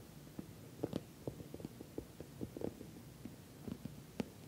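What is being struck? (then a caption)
Soft-sided patent vinyl cosmetic bag. Fingernails tap and scratch across the top of a glossy orange patent vinyl cosmetic bag, which is soft-sided and filled. The sound is a quiet series of short, dull, low-mid taps that die away almost at once, with faint scratchy brushing between them.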